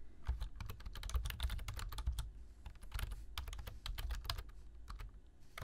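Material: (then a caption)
Plastic. A black plastic full-size keyboard with hollow key switches sits on a desk as two hands type continuously with bare fingertips. The result is a rapid, uneven stream of short, dry clicks over a low, deep thump.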